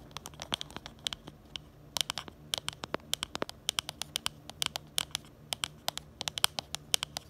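Long glitter and nude nails tap and scratch the back of a smartphone in a pink plastic case with a black bumper, right beside the camera. A quick, uneven series of sharp, bright clicks sounds, mostly high-pitched with almost no low end, each dying away instantly over a faint steady hum.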